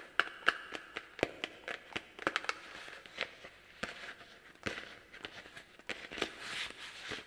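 Long black plastic claw tips on garden gloves tap and scratch a small hollow orange plastic Halloween pumpkin held in the hands. The result is a quiet, rapid series of sharp, dry clicks with bright scratching between them. Some taps carry a brief hollow ring near 1.7 kHz that dies away almost at once.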